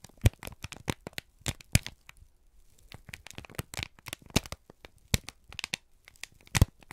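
A single thin, crumpled sheet of brown kraft paper is held in both hands and squeezed and crinkled with the fingertips and thumbs. Dense, dry crackles and crinkles come in bursts with broadband snaps and almost no ring. There is a brief quieter pause around the middle.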